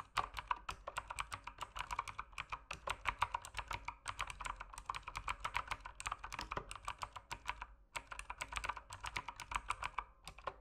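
Rapid fingertip typing on an RGB mechanical keyboard with plastic keycaps produces a steady stream of sharp, bright clacks with very little ring. The typing runs continuously, with brief pauses around 4 and 8 seconds.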